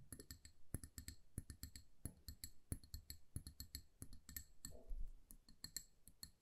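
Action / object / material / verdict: tap / glass candle jar filled with wax / glass / none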